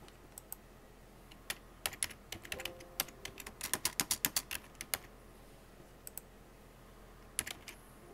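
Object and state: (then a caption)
Plastic computer keyboard. Fingertips with painted nails type fast on a full-size black plastic computer keyboard with hollow plastic keycaps. Sharp, bright key clicks come in quick, uneven bursts with short pauses between them. Each tap stops almost instantly.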